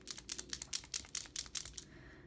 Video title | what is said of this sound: Elmers Painters Pens: How to Open Them & Get the Ink Flow Started | clicking noise that's what you want to be hearing because that means there's a little like ball or piece of plastic that goes through there and mixes up the paint